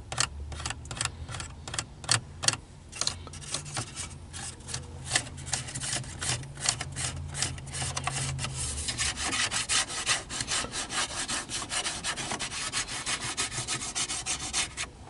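Fingertips and nails scratch and rub across the hollow slatted louvres of a black plastic centre dashboard air vent in a car. Rapid, uneven bursts of bright, dry rasping and clicking repeat throughout, with a low hum underneath during the first half.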